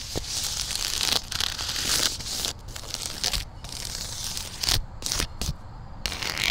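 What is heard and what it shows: Long dark nails and fingertips scratch and rub the textured weave of a large, flat, black-and-beige woven polypropylene outdoor rug lying on the ground, with the mic resting on the rug. The result is a dense, bright, papery rasping and crinkling with sharp tearing-like bursts and short pauses between strokes.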